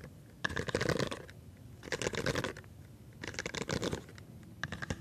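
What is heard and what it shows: A rainbow, palm-sized silicone pop-it fidget toy with hollow bubbles is held in one hand while fingertips rapidly press and pop the bubbles. The popping comes as quick, crackly bursts of soft snaps with a hollow tone around 1.7 kHz, grouped into three main flurries and a shorter one at the end, separated by brief quiet gaps.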